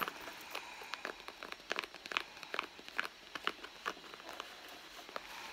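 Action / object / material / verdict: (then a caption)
scrape / soft leather handbag / leather / none. Long blue nails scratch the soft leather of a flat, hollow red handbag near its stitched seam. The result is a quiet series of dry, crackly scrapes and ticks, bright and high with almost no low end, coming at an uneven pace over a faint hiss.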